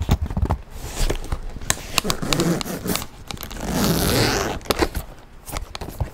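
Fingernails scratch and tap across the back and front surfaces of a tan leather handbag. Sharp, dry taps punctuate a steady, bright rasping scratch that swells into a louder stretch of continuous scratching before the taps return.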